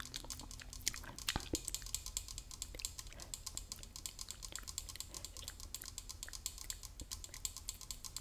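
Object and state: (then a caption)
Metal spray can tapped. A Lysol tin spray can is tapped rapidly with the fingers while gum is chewed close by. The result is a dense run of short, dry, bright clicks with almost no ring, over a faint low hum.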